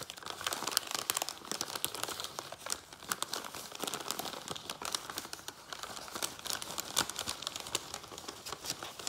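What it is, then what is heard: Paper bag being crinkled and tapped. An empty, hollow, thin-walled brown kraft paper bag is held in both hands while fingertips rapidly tap and scratch its surface, crinkle it, then lift it. The result is a dense run of dry, crisp crackles and sharp ticks, bright and papery with almost no low end and no ring after each touch.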